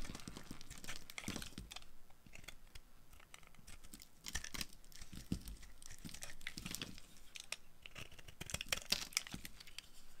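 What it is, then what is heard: Dry soap bar being carved. A solid purple dry soap bar, held in the hand, is shaved and carved by a metal blade with a yellow handle. Dry, crisp scraping and crackling strokes come in quick bursts of bright, crumbly noise with soft low thuds underneath. Each stroke dies away almost instantly.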